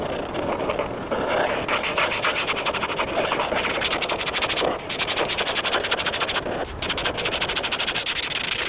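A hand with painted nails rubs a felt-tip marker back and forth across a thin paper coloring book page with a dessert cup drawing. The result is a steady, bright, rhythmic scratching of marker on paper, with brief pauses between bursts of quick strokes.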